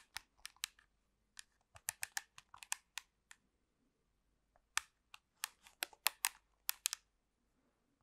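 Long pink nails tap and scratch the casing of a black plastic handheld TV remote control right next to the mic. The sound is a series of quiet, sharp, bright clicks in irregular bursts, each dying away instantly, with a pause of about a second in the middle before the tapping picks up again.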